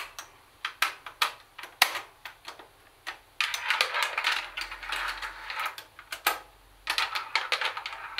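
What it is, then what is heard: Plastic boombox casing, hollow. A hollow plastic Sony CFD-101 CD cassette boombox is tapped with long acrylic nails on its plastic top, cassette door and buttons. Sharp, bright clicks and taps come in quick, uneven bursts, with denser rattling runs in the middle and near the end. The hits are short and dry, with little ring.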